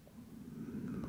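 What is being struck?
Nothing is struck.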